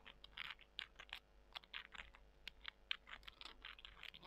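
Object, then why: Dried soy chunks. Small, dry soy chunks are held in both hands while long nails scratch them and the chunks are rubbed together. Quick, bright, crisp scratching and crunching ticks come in an irregular run of short bursts, with almost no low end.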